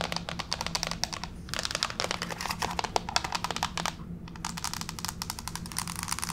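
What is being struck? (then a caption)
Wood-look laminate floor. Both hands with long pink fake nails tap rapidly on a flat gray wood-grain plank laminate floor. The result is a dense stream of sharp, bright clicks with brief pauses, over a faint steady low hum.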